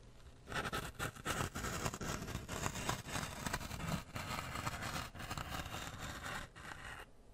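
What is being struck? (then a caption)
Floral foam block pierced with a wooden toothpick. A wooden toothpick is pushed into and pulled out of a solid, porous grey floral foam block with the fingers, close to the mic. The result is a dense run of crunchy, squeaky scraping and creaking bursts, full in the low end with a bright, crackly edge. The bursts stop and start with short pauses.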